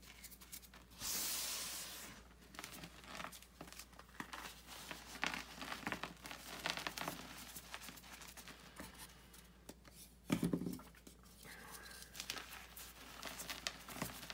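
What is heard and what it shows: Hands break a rectangular gym chalk block of magnesium carbonate and crush it between the palms, with the powder pouring down into a white bucket of loose chalk. A bright, rushing burst of crumbling near the start gives way to a steady stream of dry, crisp crunches and crackles. A second loud, fuller crunch follows later.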